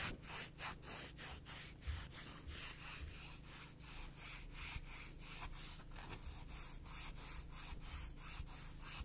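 A black emery board nail file has its gritty abrasive face scratched and rubbed with long nails. The result is a steady train of bright, raspy strokes, about three per second, over a low hum.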